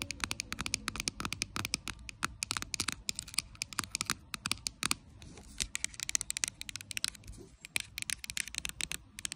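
Long acrylic nails tap and scratch the surface and base of a clear plastic micellar water bottle, full of liquid and lying on its side. Rapid, crisp clicks and dry scratching patter continuously, bright and sharp with very little low end. Each tap is short and dies away almost instantly.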